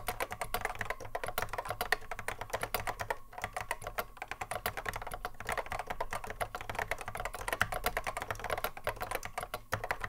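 Fingertips of both hands touch-type continuously on a vintage cream Apple M0110A keyboard with a hollow plastic case and Alps SKCC mechanical switches, sitting on a wooden desk. Rapid, crisp plastic clacks follow one another in a steady stream, each dying away almost instantly, over a faint low hum.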